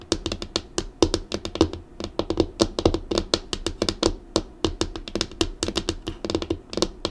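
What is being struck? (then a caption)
Laminated desk tabletop. Long acrylic nails tap and drum on a flat, dark, solid laminated desk tabletop in a quick, uneven rhythm of about forty sharp clicks. Each short, bright click sits on a dull, woody knock around 330 Hz with a little low thump underneath, and dies away almost instantly.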